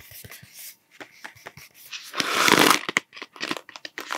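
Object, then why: Cardboard tube with plastic cap. A hollow cardboard Smarties tube with a blue plastic cap is held close to the mic and tapped with fingertips and nails, giving a quick, uneven run of soft, dry clicks and taps. Midway comes a louder, bright, scratchy rasp lasting under a second, followed by more light taps that die away quickly.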